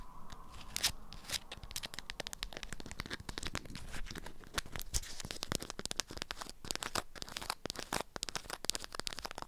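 An item wrapped in an orange-print beeswax-coated fabric wrap is held in the hand while long nails scratch and tap the stiff, waxy fabric. Dense, dry crinkling and crackling runs throughout, broken by many sharp, bright clicks and scrapes that stop instantly with no ring.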